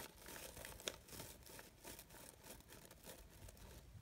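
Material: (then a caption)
Synthetic fabric. Fingers with long nails rustle the layered petals of a brown-gold sheer synthetic organza fabric rose with gold glitter edges. The result is a soft, steady, bright crinkling and scratching, with one sharper click early on.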